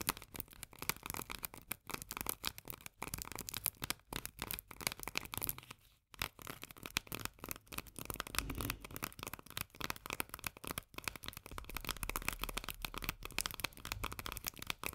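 Long nails tap rapidly on the paper label of a small, full steel can of corn lying on its side. The result is a steady stream of dry, crisp, papery clicks with a bright top end and almost no ring, pausing briefly around six seconds before continuing.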